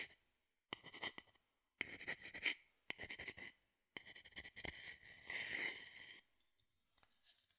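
A small, hollow, empty wooden bowl held beside the microphone is scratched and scraped with a wooden spoon or stick held in the other hand. Quiet, bright, raspy scratching comes in separate bursts with short pauses between them, with a hollow ringing tone near 2 kHz. A longer, denser scrape builds near the end before fading into a few faint scratches.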